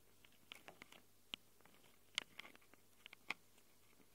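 Long acrylic nails scratch and tap on the plastic and metal-rimmed microphone capsules of a small handheld Tascam recorder. It produces about ten quiet, sharp, irregular clicks and scrapes that are bright and centered near 3 kHz, each dying away almost at once over a faint steady hiss.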